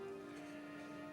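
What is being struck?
Nothing is struck.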